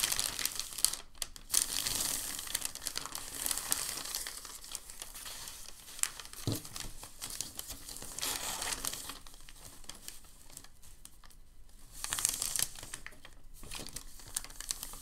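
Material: Paper.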